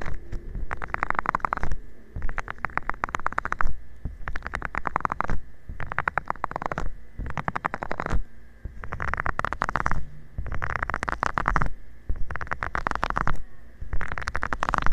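A round, green, soft plastic bristle scrubber pad with nubs is rubbed with fingertips, making dense, crackly scratching in about nine bursts separated by short pauses. The sound is close and muffled, heavy in the low end with little brightness.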